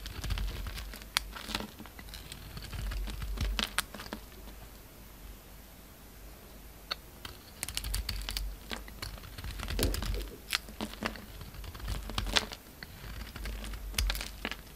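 A utility-knife blade scrapes and shaves a solid white bar of soap with a dark red coating, held in the hand. Crisp, bright scratching ticks come in irregular bursts over a low, steady rumble, with quieter stretches between the bursts.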